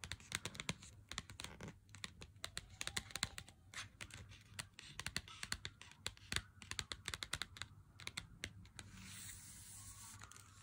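Fingertips and nails tap and scratch a handheld Lindt chocolate bar's cardboard sleeve, first on the front and then on the printed back. Dense, quick, dry clicks and scratchy brushing sounds come through with a bright, papery character. The clip ends in a steadier, hissy rubbing.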